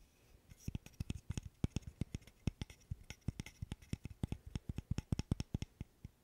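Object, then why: Small wooden burr puzzle. A small, solid, light-wood interlocking burr puzzle is held in one hand and tapped and scratched with the fingernails. About forty quick, dry, low-pitched clicks follow one another rapidly, each dying away almost instantly, with faint scratchy rustling between them.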